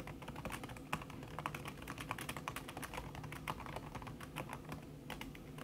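Fast typing with fingertips and long red-painted nails on a thin backlit aluminium keyboard whose plastic keys sit under a red silicone skin. A dense, quick run of soft, muffled taps and clicks blurs together, each one short and dry with a low, padded body and a little bright tick on top.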